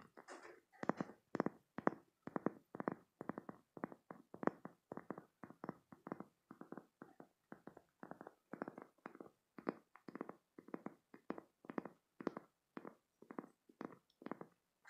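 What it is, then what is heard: Spiky silicone squeeze toy. Short painted nails scratch and squeeze the spikes of a green spiky silicone squeeze toy, producing a quiet, steady run of quick, dry, rubbery scratching bursts. The bursts repeat in a near-even rhythm and sit in the low-mid to mid range, with each one stopping almost instantly and no ring.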